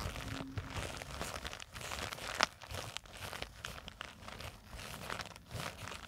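Long acrylic nails scratch and squeeze the surface of a small black nylon zippered cosmetic pouch with a white True Religion print, lying on a table and seemingly filled. A steady stream of soft crinkling, rustling scratches runs throughout, with one sharper, brighter crunch midway.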